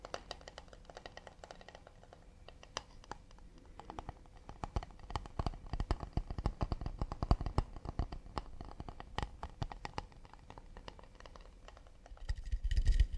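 Rapid, irregular fingertip-style tapping on an acacia wood plate produces dry, short clicks and knocks with almost no ring and a low, dull body. The taps come in uneven clusters, quieter at first, and grow denser and louder toward the end.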